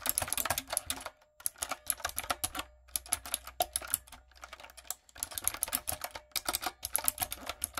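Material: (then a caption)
Plastic. Typing on a light-up, typewriter-style plastic mechanical keyboard with round plastic keycaps, struck with fingertips and long acrylic nails. Bursts of bright, sharp clicks come in quick runs, separated by short pauses, with a faint low hum underneath.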